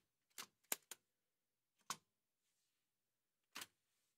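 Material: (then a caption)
Metal. White satin-gloved fingertips strike the keys of a large, heavy old Remington manual typewriter with a dark painted metal body and paper loaded. Five sharp, bright key clacks sound at irregular intervals, three close together at the start, then one alone and a last one after a long pause. Each clack is quiet and dies away almost at once.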